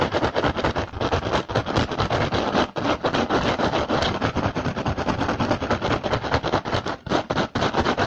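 Fingertips and short nails tap and scratch fast across the woven surface of an upturned, hollow, empty rattan basket. The result is a dense, irregular stream of dry, crackling clicks and scrapes that ring only briefly and cluster around a papery midrange.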